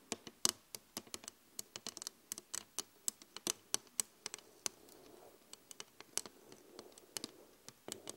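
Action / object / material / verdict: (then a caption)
tap / flat glass mirror / glass / none. Long acrylic nails and fingertips of both hands tap across the surface of a large flat glass LED vanity mirror, producing about 32 sharp, bright clicks that stop almost instantly. The taps fall in an irregular patter with faint soft brushing between them, bunching together in places and spreading out elsewhere.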